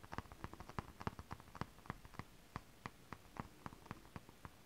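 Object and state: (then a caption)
Nail tapping on holographic scale-print fabric. One hand with long acrylic nails scratches close over holographic mermaid scale fabric, an iridescent foil scale-print stretch fabric. About twenty quiet, dry scratching taps come in an uneven patter, each short and crisp with no ring.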